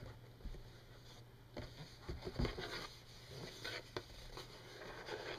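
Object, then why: Printed cardboard tissue box. Long nails tap and scratch the flower-printed side of a hollow Kleenex tissue box made of printed glossy cardboard. Soft, quiet scratching is punctuated by a few short, dull taps with bright edges, over a steady low hum.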